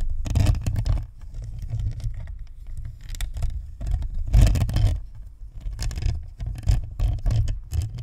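Long nails on both hands scratch and flutter across the top and sides of a white, hollow, spherical plastic Blue Snowball USB microphone with a perforated grille. The result is dense, rapid scratching and pattering with a heavy, boomy low-end rumble. It swells into louder bursts around the second half-second, third second, fourth-to-fifth second, and sixth-to-eighth second.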